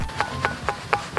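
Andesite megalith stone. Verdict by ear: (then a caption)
Wet. The rain-wet andesite megalith known as the batu gamelan, on the first terrace of Gunung Padang, is struck five times, giving short knocks with a faint pitched ring around 800 Hz that fades within a fraction of a second. Being wet from the rain, the stone sounds muffled and less ringing than usual.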